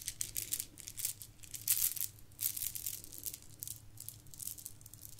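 A gold plastic bead garland is held and rubbed between fingertips and long nails, then dangled and shaken. The beads give off a quiet, bright, rapid rattling and clicking in uneven bursts. A faint low hum sits steadily underneath.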